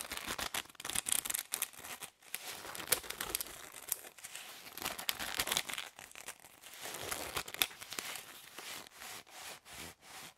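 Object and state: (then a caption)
Plastic drinking straws. A bundle of hollow plastic drinking straws is squeezed and rubbed between the hands for about ten seconds. It makes a dense run of bright, dry crinkling and crackling with sharp, clicky snaps and almost no low end. The bursts come in uneven waves with brief near-silent gaps, tapering into softer, evenly spaced rubbing pulses toward the end.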